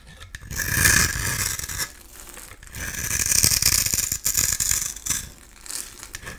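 A metal utility-knife blade scrapes a solid oval blue bar of soap held in the hand, shaving off crumbly flakes that fall away. The sound is a bright, crisp, rasping scrape with fine crackly grit, coming in three long passes separated by brief quieter pauses.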